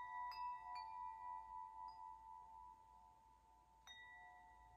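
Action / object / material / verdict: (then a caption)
tap / metal tube wind chime / metal / none. A hollow metal tube wind chime, held up by its string, is brushed and tapped by an open hand. Its tubes give clear, sustained metallic tones around 700 Hz to 1 kHz with bright overtones. The strikes ring out and slowly fade, and a final tap near the end rings on.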